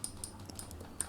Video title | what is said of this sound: HomeGuard All-in-One Wireless CCTV Kit - 4CH/1TB Unboxing and Setup | sounds like glass on there